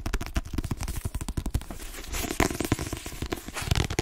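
Long nails rapidly tap and scratch the glossy cover of a hand-held Inside Vogue paperback, a solid paper block. The result is a fast, uneven patter of short, dry taps with a dull low thump, broken by bursts of crisp, crackling scratching.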